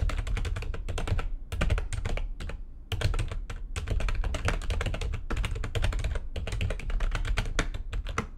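Fingertips with long nails type fast on the keys of a full-size, low-profile, backlit plastic computer keyboard resting on a desk. A dense, rapid stream of short clacking taps with a deep, thumpy low end and crisp bright clicks runs throughout, broken only by brief pauses. Each tap dies away almost instantly.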